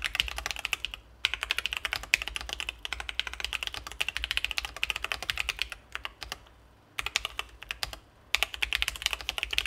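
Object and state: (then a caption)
Mechanical keyboard with acrylic case and plastic keycaps. Both hands type continuously with their fingertips on a Sesame Ergo split ergonomic mechanical keyboard with C3 Kiwi switches, an acrylic case, and plastic keycaps, resting on a desk mat. Rapid, bright, crisp clacks with very short decay cluster around 2.6 kHz, broken by a few brief pauses.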